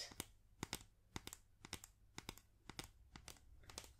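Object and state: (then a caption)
Plastic highlighter tapped with nails. A small, hollow, yellow Stabilo Neon plastic highlighter held in both hands is tapped and scratched with long nails. Around eighteen quick, dry, bright clicks come in loose, uneven pairs over soft scratching. Each click stops instantly with no ring.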